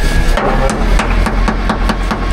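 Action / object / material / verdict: knock / boat's underwater hull struck with a hammer / unknown / sound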